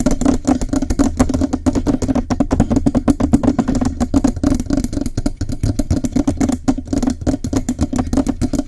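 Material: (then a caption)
Metal. Fingertips and nails from both hands tap and scratch quickly on the hollow metal cylindrical body of a Blue Yeti USB microphone, below its foam windscreen. A dense, continuous stream of short, dry clicks and scrapes sits over a steady low, resonant hum.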